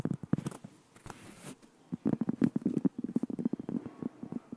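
Fingertips and nails tap and scratch along the edge and surface of a thin, solid, flat round cork board about 20 cm across, held edge-on and then face-on close to the microphone. Quick, dull, muffled taps centered low in the midrange die away almost instantly, with a soft, bright scratching passage early on before the taps grow denser and louder.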